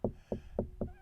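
Four taps on a fiberglass RV wall over an aluminum tube frame give short, dense knocks centered low around 200 Hz that die away quickly. The solid sound marks where an aluminum rib sits behind the wall, which is used to choose where to cut.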